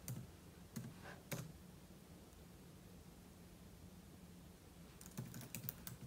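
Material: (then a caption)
Plastic. Fingertips type on a silver aluminum laptop keyboard with plastic keys, giving quick, short taps and clicks. A few scattered keystrokes come early, then a faster cluster of taps near the end. Quiet gaps between them hold a steady low hum.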